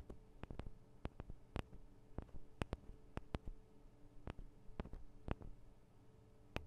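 Long nails tap on the sides of the small metal microphone capsules of a Tascam DR-40 recorder, making an irregular series of sharp, quiet clicks that die away almost instantly. A faint, steady low hum sits underneath the taps.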